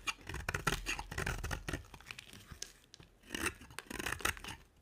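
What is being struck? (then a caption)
Bar of soap scraped with a blade. A box-cutter blade scrapes and carves a solid pink soap bar with a dark coated rim. The result is a quiet series of dry, crisp scraping strokes with a bright, papery rasp and short bursts of shaving noise.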